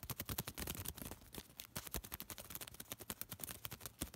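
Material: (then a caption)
Paper. A small crumpled piece of thin white paper is folded and crinkled between fingertips, giving a rapid stream of sharp, bright crackles and snaps over a soft low rumble. The crinkling is dense and irregular, with many quick clicks that fade almost instantly.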